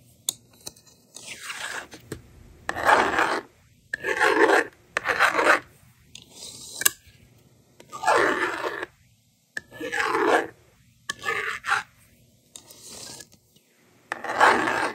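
A small plastic magnetic doodle board is held in hand, its screen wiped with the slider and a yellow plastic stylus held over it, ready to write. Short, dry scratchy rasps come in separate bursts, broad and bright with a midrange core and nothing in the low end. Quiet pauses fall between them.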